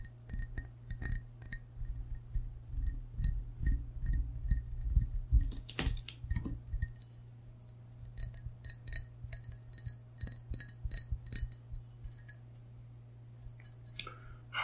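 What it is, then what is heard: Ceramic mug tapped with fingernails. A medium, hollow glazed ceramic frog mug, tilted so its empty white interior shows, is held in both hands and tapped on its sides with short fingernails and fingertips. The irregular, quick taps give bright, glassy clinks with short rings over a steady low hum, busiest in the first half and thinning out later.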